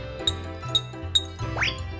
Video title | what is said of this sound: หน่วยปริมาตร น้ำหนัก | มีน้ำอยู่ในขวดน้อยการสั่นสะเทือนจะมากทำให้เสียงแหลมสูงมากขึ้น